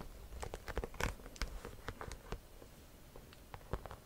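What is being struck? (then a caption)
Croc-embossed faux leather handbag. A cream croc-embossed leather or faux leather shoulder bag, hollow and held in both hands, is scratched and tapped on its front with long nails. Quiet, dry taps and scratchy patter come in an uneven run of short clicks, each stopping at once with no ring.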